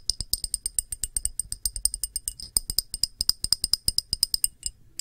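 A round, thick, clear pressed-glass dish, held edge-on, has its rim and feet tapped and scratched with long nails. About forty quick, dry clicks come in a rapid, uneven stream, each with a bright, high glassy ping and almost no ring, ending in a brief scratchy burst.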